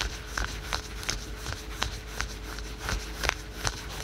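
Fingertips and nails quickly scratch patterned spandex/polyester yoga pants worn on the thigh. Short, dry, bright scratching strokes repeat at a fairly steady pace, roughly every third of a second, over a soft rustling bed with a faint steady hum.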